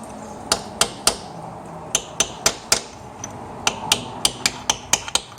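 A new rear crankshaft main seal is tapped evenly around its edge into the engine housing with a driver and hammer, giving about seventeen sharp, bright metallic taps at an irregular pace. The tap note changes once the seal sits flush with the crankshaft housing, showing the seal is fully seated.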